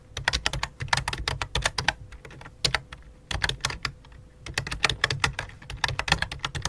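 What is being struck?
Plastic membrane computer keyboard.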